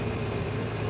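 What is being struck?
Nothing is struck.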